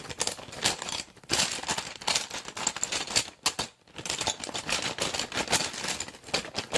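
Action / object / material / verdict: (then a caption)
shake / vinyl pencil case with plastic pens and wooden pencils / plastic / none. A small clear PVC zip pencil case full of plastic pens and wooden pencils is gripped by fingers with long dark nails and shaken and squeezed. Its contents rattle and clatter in dense, bright bursts with brief pauses. Each clack is short and dry, with almost no low end.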